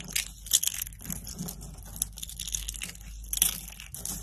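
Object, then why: Soap flakes crushed by hand. A hand with long pink-painted nails scoops a pile of dry, brittle soap flakes and curls in pink, green, orange and purple from a woven mat and crushes them between the fingers. The result is a dense, bright, dry crunching and crackling, with repeated sharp bursts over a faint low hum.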